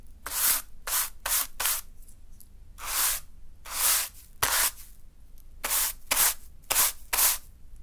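A small natural-fiber broom sweeps against a small heap of fine green sand on a dark surface. About ten separate brushing strokes are heard, each a bright, airy rubbing hiss with gaps of quiet between them.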